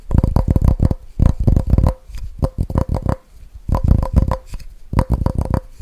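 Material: Plastic.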